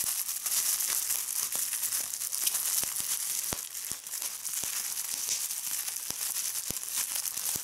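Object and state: Plastic bubble wrap.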